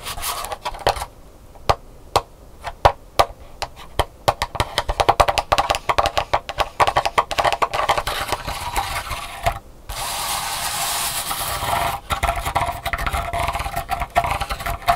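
Long nails tap and scratch the pleats of an open paper folding fan lying flat on a wooden table. Quick, dry, crisp taps come in fast irregular bursts, then give way to a steady papery scratching before the tapping resumes.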